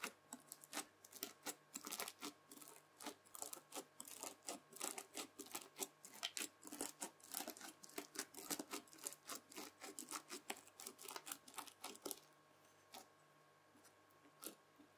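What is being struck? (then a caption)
Slime packed with small plastic beads, pressed with a plastic fork. A white plastic fork presses and scratches into red floam slime packed with small plastic beads, a soft solid mass lying on a white table. The clip is a rapid, steady run of bright, crisp crunches for about twelve seconds, then it goes quiet apart from a couple of isolated crunches near the end.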